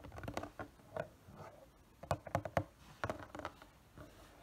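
Fingertips and nails tap a hollow, printed cardboard figure box as it is turned between its panels. The result is a loose, irregular series of soft, dull, papery taps and light scratches, with a few sharper knocks near the middle, each dying away almost at once.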